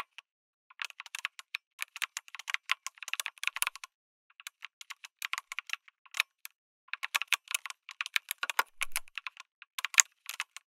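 Fingertips type on a backlit mechanical keyboard with a white case and red and grey plastic keycaps. Bursts of quick, bright, dry clacks come in uneven runs, with short pauses near 4 and 6.5 seconds. A louder key strike stands out near the 10-second mark.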